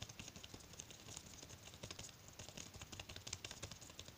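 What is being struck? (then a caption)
Latex glove on a hand. Bare fingertips quickly tap and rub the surface of a thin white latex glove worn loosely on the other hand, held close, with plastic bead bracelets on the gloved wrist. The result is a quiet, rapid stream of short, bright, crinkly taps and rubs with a soft low thump under them, possibly with faint rattles from the beads.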